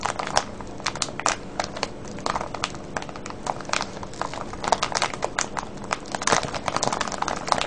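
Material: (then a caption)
Plastic. Fingertips press and crinkle a clear plastic cellophane bag full of colorful foil-wrapped candies with a red label. The clip is a steady stream of dense, bright crackling bursts, with sharper, louder crinkles scattered throughout over a quieter rustling bed.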